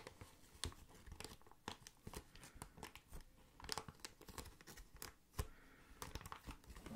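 Clear plastic air column packaging is squeezed and crinkled by hand, then scratched with the fingertips. Quiet, dense crackling and sharp crinkly snaps come in irregular bursts, each ending almost instantly, with a soft low rustle underneath and a bright edge on the louder pops.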